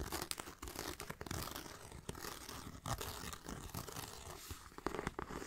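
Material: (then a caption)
Faux leather. Fingertips and nails tap and scratch the grained surface of a small black pebbled faux leather backpack with a striped band and a bee brooch. The result is a dense run of close, quiet scratchy crackles and soft taps with brief bright rasps and dull low thumps, steady throughout with no ringing.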